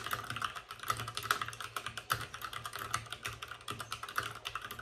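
Fingertips of both hands type fast on a white RGB-backlit mechanical keyboard with plastic keycaps and a hollow plastic case. A steady stream of short, sharp clacks with a bright, hollow plastic tone around 1.3 kHz follows, each keystroke dying away almost instantly.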